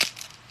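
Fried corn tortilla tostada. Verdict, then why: Crispy. A homemade fried corn tortilla tostada crunches and crackles briefly, a sharp bright snap at the start followed by a few smaller brittle cracks. The dry, high-pitched crunch shows the tostada came out crispy and flat.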